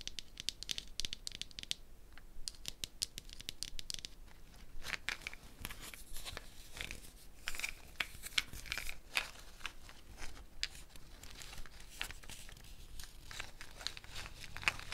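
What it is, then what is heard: Gourd shaker with wooden bead net. Fingernails scratch and flick the small wooden beads of a net wrapped around a medium hollow dried gourd shaker with a handle, knocking them against the gourd. This produces a steady stream of quick, dry, bright clicks and scratchy rattling. The clicks die away instantly and are heard at a soft, close level, with a brighter tick around 2.2 kHz standing out.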